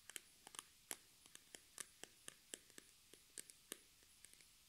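A hand-sized, hollow, pink-and-white squeezable plastic cream tube with a white flip cap, partly filled with cream, is held in both hands and tapped and scratched with long red acrylic nails. About 17 quiet, sharp, bright clicks and light scratches sound at an irregular pace over nearly five seconds, each dying away almost instantly with little low end.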